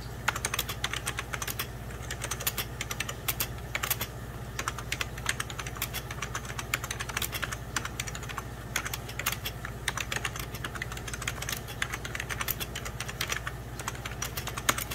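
A full-size 90s Packard Bell keyboard, with beige plastic keys over a hollow plastic case, is typed on rapidly with fingertips and short nails. It produces a fast, continuous stream of short, bright plastic clicks and taps that die away almost instantly, over a steady low hum.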